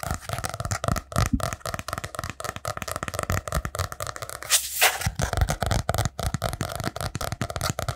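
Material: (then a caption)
Cardboard. A small spiral-bound notebook with a brown kraft cardboard cover is held upright in front of the mic while fingernails and fingertips rapidly tap and scratch the cover. The result is a fast, dense stream of dull, low thumps mixed with dry, papery scratches, with a brief brighter scraping burst about halfway through.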